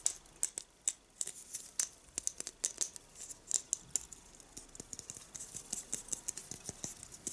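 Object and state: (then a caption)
Plastic star Christmas ornament. A small, glossy blue, hollow star-shaped Christmas tree ornament, likely plastic, with a silver cap and hanger, is held in the hand and handled and rubbed with fingertips and nails in front of an artificial tree. The result is a quiet, irregular stream of sharp, bright clicks, taps and scratchy crinkles with almost no low end, each dying away instantly.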